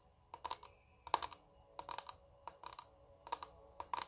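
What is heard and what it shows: A small square clear plastic makeup compact with shimmery contents, held in both hands, is tapped rapidly with long red nails. Quick bright clicks arrive in short clustered bursts with quiet gaps between, each tap dying away almost instantly around a hard plastic tone near 940 Hz.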